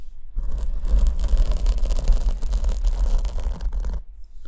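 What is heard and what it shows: Long nails scratch the surface of a large black open-cell foam windscreen on the left condenser mic, held in one hand. A dense, continuous scratchy rustle runs from about 0.4 to 4 seconds, with a heavy low rumble near 59 Hz underneath and bright crackling texture on top, then stops abruptly.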